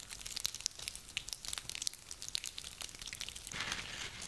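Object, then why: Small pine cones. Small dry pine cones are held in both cupped hands and crushed and rubbed together with the fingers, so their woody scales crinkle against each other. Dense, bright, dry crackles and sharp ticks come in quick succession. In the last second they merge into a steadier, louder rustle.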